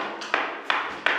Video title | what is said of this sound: 💪 NOUVEL ACHAT ! ANALYSE ET VISTE IMMEUBLE DE RAPPORT ! FINANCEMENT TRAVAUX FISCALITÉ RENTABILITÉ ! | ça sonne pas creux c'est plein c'est à dire que c'est le parpaing et c'est l'enduit directement